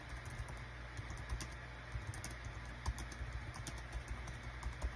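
Rapid fingertip typing on a small green-and-white plastic Dong Guan KPH-030 wireless Bluetooth keyboard with a built-in touchpad, its hollow thin body lying flat on a desk mat. Short, dull clicks and taps sit over a steady low hum, with brief bright key clatter.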